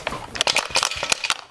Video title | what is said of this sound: Engine Teardown - Another One Bites The Dust! | so you can hear the parts in there